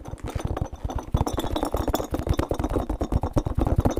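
Fingertips and nails scratch and squeeze the spikes of a small, hollow, orange and blue spiky rubber massage ball held in both hands. The result is a fast, continuous run of short, dull scratching and rubbing strokes with heavy low thumps and little brightness. It grows noticeably louder after the first second.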